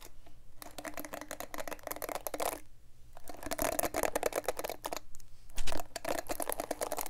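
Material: Plastic.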